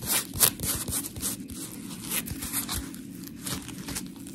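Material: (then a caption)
Polymer foam. Long pink nails on both hands rub and scratch a solid, palm-sized, round blue textured polymer foam scrub sponge with smiley cut-outs. The result is a dense, gritty run of rasping, crackly scratches with bright, hissy highs over a low rustling bed, rising in a few louder bursts at an uneven pace.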